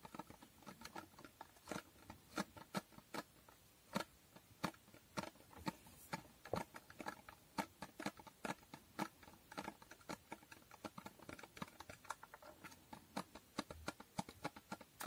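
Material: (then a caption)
Cardboard. Long painted nails tap on a small hollow cardboard box with a holographic foil finish. The result is quiet, sharp, dry clicks with a brief hollow knock, coming in an irregular stream of quick taps and short bursts over soft background hiss.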